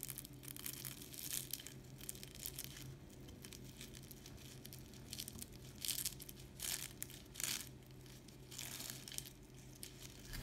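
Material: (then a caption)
Pastry. A knife cuts through a crispy, syrup-soaked layered dessert garnished with peanuts, making bursts of bright, crackling crunches over a low steady hum. The loudest crunches come near 6 and 7.5 seconds, and the crispness is confirmed.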